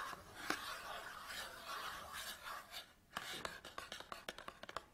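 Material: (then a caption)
Cardboard. Fingernails scratch and rub across the face and top edge of a small cardboard SanDisk memory card package resting on a table, making a steady, bright, papery rasp. After a brief pause, the nails switch to a quick series of crisp, dry taps on the cardboard.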